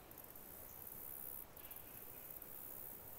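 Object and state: Nothing is struck.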